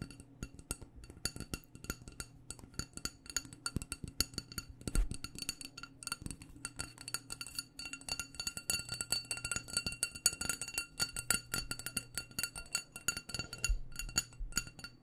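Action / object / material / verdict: tap / glass candle jar filled with wax / glass / none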